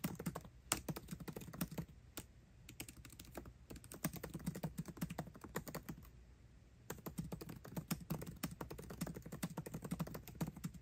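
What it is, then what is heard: Laptop keyboard with plastic keys in an aluminium body. Fingertips type fast on a MacBook Pro keyboard with plastic keycaps set in an aluminum body. The result is a rapid stream of short, dry clicks with low thuds, each dying away almost at once. The typing runs on with a couple of brief lulls before picking up again.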